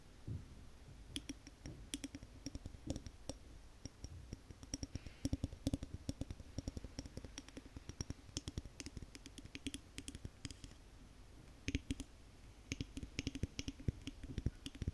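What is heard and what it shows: A large Yankee Candle glass jar with a paper label, filled with solid wax and held in both hands, is tapped and scratched on its glass body with long painted nails. Quick, dry clicks and taps come in irregular bursts with soft scratching between them, each tap dying out at once with a low, dull body and faint bright edges.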